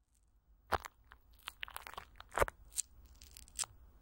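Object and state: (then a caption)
Plastic film over a microphone, scratched. Fingertips and long nails of both hands scratch and rub thin clear plastic film, with Vaseline, stretched over a large hollow metal mesh microphone grille. Soft, irregular crunchy crinkles and bright crackles come in uneven bursts, with a few louder, sharper crunches standing out over a quiet, close background.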